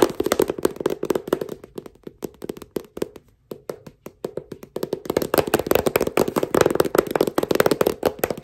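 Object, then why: Paperback book. Fingertips wearing brass finger caps tap and click on the glossy dark cover of a paperback book, a solid stack of paper held in hand. The result is a rapid series of short, dry clicks with a midrange body around 360 Hz and bright edges. The taps thin out and grow quieter midway, then return denser and louder.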